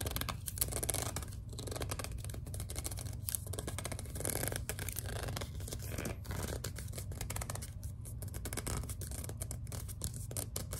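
A small, hollow white plastic No7 lotion bottle is gripped and squeezed while long dark nails scratch across its label. The result is a steady run of dense, bright scratching and crackling over a constant low rumble.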